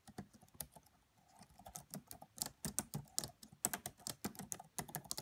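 Both hands type on a red laptop's black plastic chiclet keys, tapping with fingertips and long French-manicured nails against the hollow body. A steady stream of quiet, quick, bright clicks follows a brief pause near the start. Each tap is short and dry with no ring.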